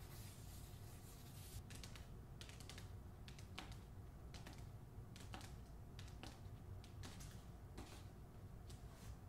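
Long nails tap and scratch the front cover of a hardcover copy of "The Man Who Could Move Clouds" with a paper dust jacket. Quick, bright clicks and short scratchy strokes come at irregular intervals and die away fast. A steady low hum sits underneath throughout.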